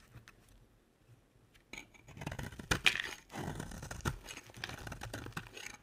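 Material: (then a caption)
Soap. A box-cutter blade scrapes and carves a solid pink soap bar, shaving off curls. After a near-silent start, dry, bright, crackly scraping builds up, with a few sharper ticks standing out, and continues in uneven strokes until the end.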